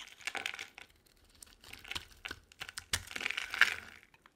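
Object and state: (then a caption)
Dry soap bar being carved. A utility knife blade carves curls from a solid, cream-colored bar of dry soap held in the hand. It makes a run of dry, crisp scraping and crinkling bursts that are bright and high-pitched, with quiet pauses between strokes. The cuts stop short with almost no ring.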